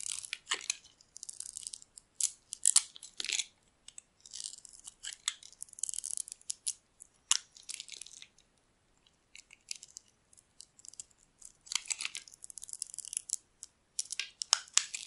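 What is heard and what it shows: A metal blade carves and scrapes yellow curls from a solid, palm-sized bar of dry soap, green outside and yellow inside, held in the hand. Bursts of crisp, bright scraping and crunching come in an irregular series of short strokes with brief pauses. The sound sits almost entirely in the high range, with no low end.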